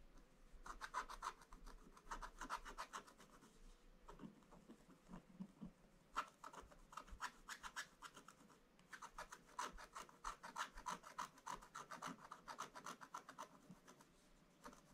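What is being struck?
Black-coated scratch-art paper scraped with a wooden stylus.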